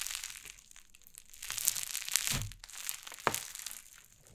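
White cloud slime on a wooden table is pressed flat and pulled apart with fingertips and long nails. It gives a steady, bright crackling and crinkling, with soft sticky pops and a few sharper crunchy snaps as the slime stretches and tears.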